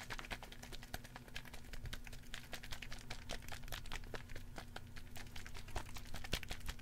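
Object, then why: Small plastic spray bottle with liquid inside. A small red plastic spray bottle with a white pump cap and liquid inside is held in one hand and shaken close to the microphone. It makes quiet, rapid, irregular clicks and rattles with bright, sharp transients over a steady low hum, continuing for the whole clip.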